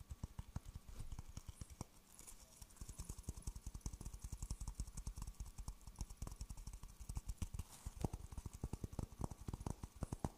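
Fingertips tap rapidly on a dry, hollow, empty half coconut shell with a fibrous husk on the outside, held in one hand near a fuzzy microphone. The result is a long run of short, dry, hollow knocks with a low, clopping body around 120 Hz that die away almost instantly, with some faint mouth sounds possibly mixed in.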